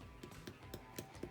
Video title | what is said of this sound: SWIRLED CHEESE BREAD | you know it's done when you tap the bread and it sounds like hollow